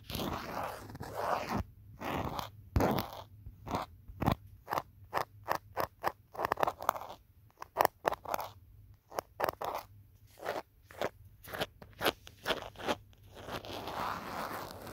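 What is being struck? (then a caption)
Smartphone in thick rubber-plastic case. Long fingernails tap and scratch the back of a handheld smartphone in a thick green rubber-plastic protective case, picked up by the phone's own microphone. A rapid series of sharp, dry clicks and crunchy scrapes comes in separate bursts, with softer rustling scratches at the start and end.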